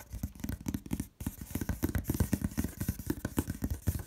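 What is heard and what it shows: Long red nails rapidly tap and scratch the large, flat side of a hollow corrugated cardboard box. The result is a quick, irregular stream of dry, hollow thuds mixed with soft scratchy rustle, with a brief pause just after the first second before the tapping resumes.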